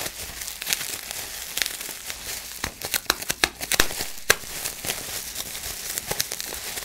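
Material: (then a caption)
Plastic. A large sheet of clear plastic bubble wrap is held in both hands while fingers crinkle it and pinch the bubbles. A steady, bright crinkling rustle is broken by a string of short, sharp pops and snaps, loudest in the middle of the clip.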